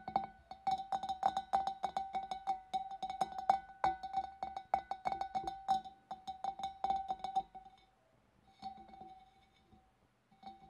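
Long dark nails tap rapidly inside the opening and on the rim of a large, clear, empty glass fish bowl. Each tap gives a short, ringing glassy ping around 780 Hz with bright overtones, in an irregular flurry. The tapping thins out to a few softer taps near the end.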